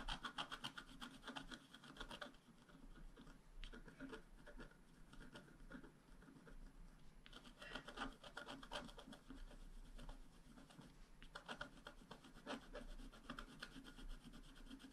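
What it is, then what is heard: Scratch-art card being scratched. A wooden stylus scratches across the lower area of a flat, black-coated scratch-art card, making quiet, dry rasping strokes in quick repeated bursts. The strokes have a bright, papery hiss and come in denser flurries around the start, the middle and the end.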